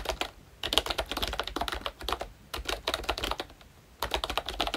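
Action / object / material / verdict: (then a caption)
tap / plastic membrane keyboard / plastic / none. Both hands tap with fingertips on a pink plastic ROYCHE Disney Mickey Mouse retro membrane keyboard with round black keycaps. Bursts of quick, light, clicky keystrokes with short, dry, bright attacks come in runs separated by brief quiet pauses, with a soft low rumble underneath.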